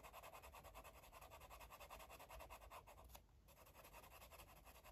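A yellow felt-tip marker scribbles and scratches across a paper coloring book page. Quick, rhythmic back-and-forth strokes make a soft, dry, papery rasp with a brief pause a little past the three-second mark before the scribbling resumes.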